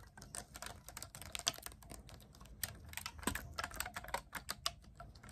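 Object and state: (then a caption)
Clarinet keys being tapped. Fingertips grip and rapidly press and tap the silver metal keys of a black clarinet held upright, producing a quick, uneven stream of crisp, bright clicks. Each click is short and dry with almost no ring, over a quiet low rumble.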